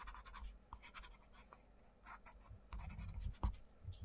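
A wooden coloured pencil rubs and scratches across the paper page of an open paperback colouring book on a table while the other hand flattens the page. Quiet, dry scratchy strokes come in quick, bright bursts, with a few soft low thumps and rumbles near the end.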